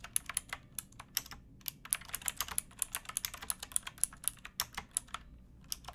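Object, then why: Mechanical keyboard with plastic keycaps. Both hands type on a pink backlit mechanical keyboard with plastic keycaps, striking the keys with fingertips and nails. About 37 quick, bright clicky keystrokes arrive in an uneven, steady rhythm, each a sharp, high tap that dies away almost instantly over a faint low background.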